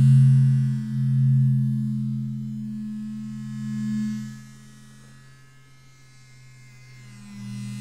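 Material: Nothing is struck.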